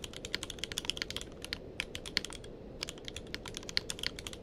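Fingertips of both hands type continuously on a tenkeyless mechanical keyboard with plastic keycaps. About thirty short, bright, clacky keystrokes land in an uneven rhythm, each dying away almost instantly over a faint steady hiss.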